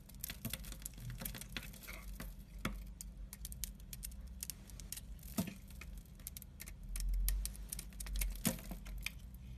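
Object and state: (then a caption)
Bar soap being carved. A hand-sized solid black bar soap with orange and white stripes, held in the hand, is shaved and scraped with a utility knife blade, leaving curled shavings. Many quick, soft scraping ticks and crisp shaving clicks run over a low, steady hum. A few sharper bright cuts stand out, and there are low swells near the end.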